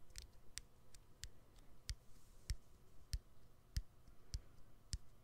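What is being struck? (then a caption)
Smartphone battery and plastic frame. Fingernails click and tap on the exposed battery and plastic frame of a smartphone with its back cover removed. Ten short, dry clicks come at a slow, slightly uneven pace, each with a bright high tick over a soft low thump. The taps are quiet against a faint low background hum.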